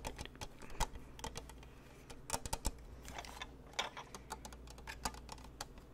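A white lantern-style snow globe with a plastic frame and clear panels around a glittery Santa scene is held up and tapped quickly with fingertips and nails on its top, frame and panels. The result is rapid, uneven, dry plastic clicks and taps with bright, short ticks, like keyboard typing. A steady low hum runs underneath.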